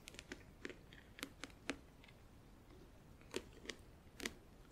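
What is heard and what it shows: Long acrylic nails tap on the front edge of the lid of a closed, hollow, clear plastic compartment organizer filled with press-on nails. About a dozen short, dry clicks come in irregular clusters with a quiet gap in the middle. Each tap is bright with a low hollow knock and dies away almost instantly.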